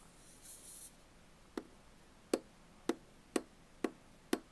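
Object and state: Aluminum bottle can tapped with fingernails.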